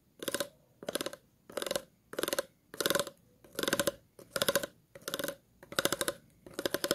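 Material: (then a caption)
Plastic. Scissors are scratched across the ridges of an empty, hollow, clear ridged plastic water bottle, with long nails nearby. About ten short, steady strokes each give a rapid ratcheting rattle of clicks with a hollow resonance near 550 Hz and a bright, crisp top. Brief quiet gaps separate the strokes.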